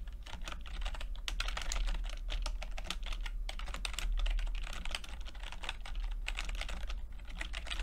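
Fingertips tap the plastic keycaps of a backlit chiclet computer keyboard in steady, continuous typing. The result is a dense stream of quick, bright clicks over a constant low hum.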